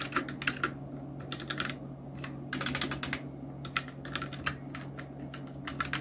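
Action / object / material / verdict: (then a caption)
tap / plastic mechanical keyboard keys / plastic / none. Fingertips of both hands type on a full-size black Nubwo Illusion NK-70 mechanical keyboard with Outemu red switches, round plastic typewriter-style keycaps and blue backlighting. Quick, clacky key presses come in uneven bursts with bright, short clicks, over a steady low hum.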